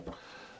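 A single tap on the plinth of a Lenco L-30 turntable gives a dull, low thud around 176 Hz that fades into quiet room tone. The body sounds solid with no creaks, unlike the echoing, big hollow sound of a cheaper £89 turntable when tapped.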